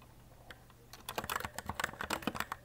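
Fingertips with short nails on both hands rapidly press the plastic keycaps of a white, RGB-backlit E-Element Z-88 mechanical keyboard with a small compact layout, resting on a desk. After a quiet start with a few faint taps, a fast burst of sharp, bright clacky keystrokes follows, each click dying away almost instantly.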